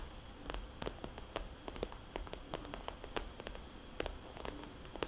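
Fingernails on both hands tap and trace circles on a small red polka-dot glossy plastic cosmetics bag lying flat, its hollow pouch giving a light, slightly resonant tone. Quick, dry, bright clicks land in an irregular stream, with soft scratchy rustling from the tracing between them, over a steady low rumble and faint hiss.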